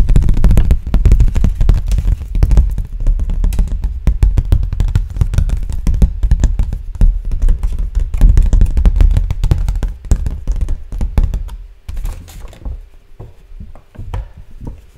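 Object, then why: Thin clear plastic blister tray. A large, thin, clear plastic blister tray, an empty, hollow packaging insert with molded cups, is held up and tapped rapidly with fingertips. It gives a dense, irregular run of short, hollow, low-pitched taps and crinkly knocks. After about twelve seconds the tapping becomes sparser and quieter.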